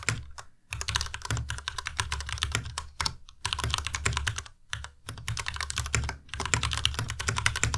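Fingertips type rapidly on a white tenkeyless Ducky Miya Pro mechanical keyboard with plastic keycaps. Dense runs of bright, sharp clacks over a low thump stop dead after each hit, with brief pauses in between.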